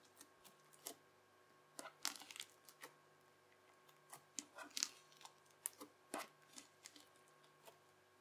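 A yellow plastic knife blade scrapes and presses into teal, bubbly, crunchy slime. It makes quiet, bright, crisp crackles and pops that come in irregular bursts and stop instantly, over a faint steady background hum.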